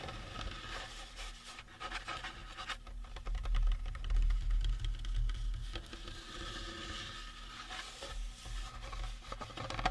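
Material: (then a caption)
Resin. Fingertips and nails scratch and tap the top and sides of a life-size, hollow-looking painted resin or plastic Halloween prop skull held on a table. Dense, uneven scratching mixes with soft, dull taps over a steady low rumble, and each sound dies away almost at once.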